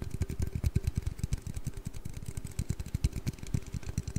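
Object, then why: Aluminium drink can. An aluminium Red Bull energy-drink can is tapped and handled, producing a rapid, uneven stream of many short, dull taps. Each tap is a low, hollow thud that dies away almost instantly, with faint bright clicking on top.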